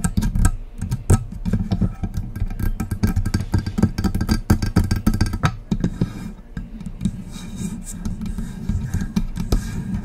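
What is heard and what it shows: Long press-on nails tap and scratch the sides of a hollow silver metal USB desktop microphone near its mount knobs. The result is a dense run of rapid, boomy low taps with short decays, mixed with rough scratching that softens and thins out toward the end.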